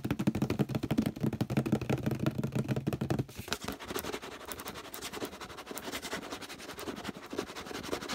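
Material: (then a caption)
Plastic. Fingertips tap quickly on the base and sides of a hollow orange plastic detergent bottle, producing a rapid, uneven patter of short, dull hollow knocks. For the first three seconds the taps are louder and boomy, then they become quieter, lighter clicks with a drier, more scratchy texture.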